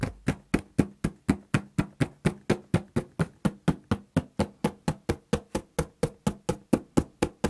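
Fingertips and knuckles knock and tap the flat side of a large, hollow, empty corrugated cardboard shipping box with a printed smile logo. About 32 dull, hollow knocks land in a steady run of roughly two per second. Each has a low thump that dies away almost instantly.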